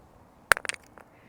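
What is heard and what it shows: A crazed piece of old Victorian-dump stoneware, full of visible cracks, is dropped lightly onto a surface to test how badly it is cracked. It lands with a sharp, bright clack, followed by a quick run of smaller rattling taps and a couple of faint ticks as it settles. The piece does not break and still has not cracked after further handling.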